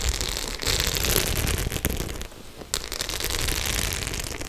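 Long nails scratch and tap across the metal studs of a white studded faux leather clutch bag held at an angle. The result is a dense, bright crackling of scratches and clicks that dips quiet for a moment, then starts up again.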